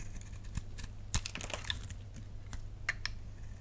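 A flat utility knife blade scrapes a solid, dry pink bar of soap held in the palm, shaving off crisp curls. Short, dry, bright ticks and crackles come through over a steady low hum, with a few sharper snaps standing out.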